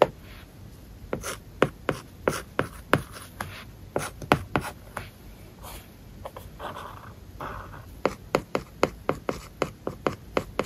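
A stylus writes on an iPad screen covered with a matte plastic paper-like film, making sharp, dry taps mixed with soft scratchy strokes. Quick bursts of taps come in the first few seconds, ease into quieter scratching in the middle, then pick up again with another fast run of clicks.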